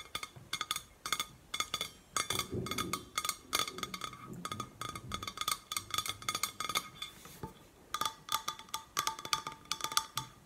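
Long painted nails tap and scratch around the body of a hollow, cylindrical red painted stainless steel insulated water bottle held in both hands. Quick bursts of bright, clicky taps carry a faint metallic ring that dies away almost instantly, with softer scratching textures in between.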